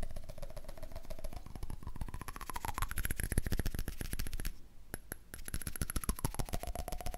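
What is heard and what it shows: Rapid, irregular tapping on a candle lid produces a dense run of short, dull knocks that die away almost at once. The sound is mostly low and thumpy, with a faint tone underneath that drifts slowly up and back down.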